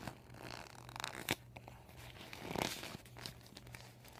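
Fingernails scratch and fingers crinkle a deflated, empty PVC vinyl beach ball with yellow and white panels and marker writing. Dry, papery crinkles and scratchy rasps come in uneven bursts over a faint low hum. There is a sharp bright crackle near the start and a louder rustling swell midway.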